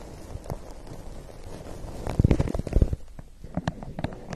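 A large, hollow printed lemonade ice paper cup is held in both hands close to the mic and tapped and scratched with long painted nails. Soft scratchy rustling runs throughout, broken by dull, muffled, low-heavy taps that cluster into a louder flurry midway, then fade to sparser sharp clicks.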